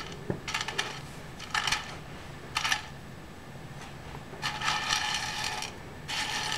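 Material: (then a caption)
Seed shells. Fingertips rake and rub through a large loose pile of dry, hollow, striped in-shell sunflower seeds on a white board. The shells give five separate bursts of crisp, bright rattling and crackling, with quiet pauses between them. The longest, fullest burst comes near the end.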